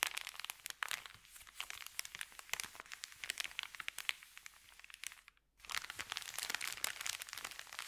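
Fingertips rub and press a thin, empty, crumpled white Subway paper bag, producing dense, bright, crackling crinkles with no low end. The crinkling runs almost continuously, drops to near silence for about half a second just past the five-second mark, then resumes at full intensity.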